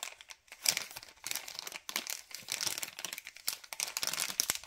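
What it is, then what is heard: Plastic bag of cable ties. Fingers crinkle and squeeze a white LDPE plastic bag of cable ties. Dense, bright crackling bursts rise and fall in quick waves with almost no low end. Each crinkle cuts off sharply with no lingering ring.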